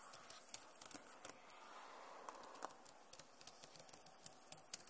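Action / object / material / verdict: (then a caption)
tap / plastic laptop keyboard / plastic / none. Fingertips and nails tap rapidly on the keys of a backlit plastic laptop keyboard. Around nineteen short, sharp clicks with bright, high edges sound over a quiet, steady hiss. Each click dies away almost instantly.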